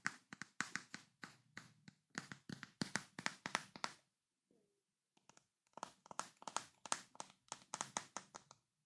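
A large, full glass Nutella jar with a paper label and a white plastic lid is held in both hands while fingertips and short nails tap its glass sides. About 35 quick, bright, dry taps come in rapid bursts, with a short quiet pause near the middle before the tapping resumes.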